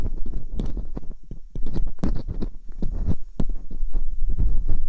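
Metal dental picks scrape inside the canals of silicone ear molds on a binaural microphone. The result is a rapid, irregular run of short, close scratches and soft thuds, heavy in low rumble, with occasional bright clicks cutting through.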